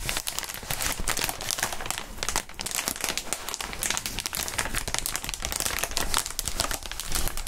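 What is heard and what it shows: Gloved hands rub and crinkle clear plastic inflatable air-column packaging made of hollow tubes. A dense, continuous crinkling and crackling plays throughout, with bright, sharp textures over a low rustle and brief dips in loudness.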